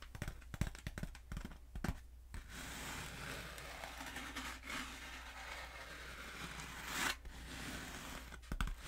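Long fingernails tap and scratch along a long, black, hollow foam pool noodle held horizontally and diagonally. The first two seconds bring quick, sharp taps. A steady, bright, hissy scratching then runs through most of the clip and swells near the end before a few final taps, all over a constant low hum.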